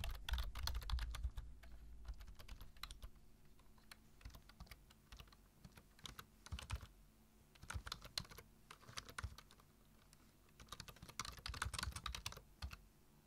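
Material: Plastic.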